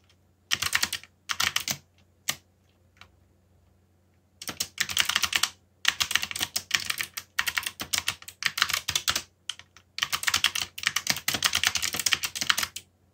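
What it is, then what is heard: Plastic mechanical keyboard. Fingertips type on a backlit mechanical keyboard with black plastic keycaps, producing bursts of rapid, bright, clicky keystrokes separated by short pauses. Each keystroke is crisp and dies away almost instantly, over a faint steady low hum.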